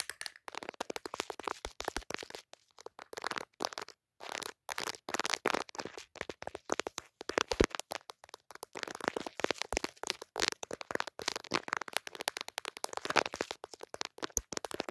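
Dark long nails and fingertips tap rapidly on the glass camera lenses and pink plastic case of a handheld smartphone fitted with a pop socket. The sound is a dense stream of short, dry, crackly clicks and taps with bright edges and almost no ring, broken by a few brief pauses.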